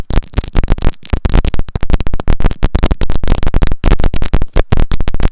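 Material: Plastic.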